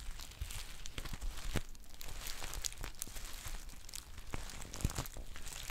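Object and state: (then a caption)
Foil tea pouch crinkled and scratched. A green foil tea pouch held up close has its label area scratched and its body crinkled with long painted nails. The result is a steady, dense run of crackly crinkling and scratchy rustles with quick, sharp transients and a low thumpy undertone.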